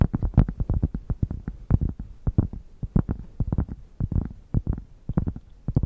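A thick, solid cork square held close to a microphone is scratched with long painted nails and fingertips. It gives a rapid, uneven run of short, deep, bassy scratching thumps that are almost entirely low in pitch with very little brightness. Each stroke dies away almost instantly.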